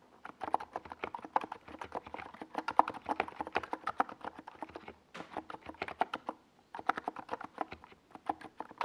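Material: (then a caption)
Plastic. Fingertips type continuously on a small 68-key NiZ Plum Atom 68 mechanical keyboard with a white plastic case and purple-and-yellow Domikey Gas Attack plastic SA keycaps, resting on a desk pad. Quick, crisp clacking keystrokes, centered in the mid range with short dry decays, come in rapid bursts with brief pauses near 5 and 6.5 seconds.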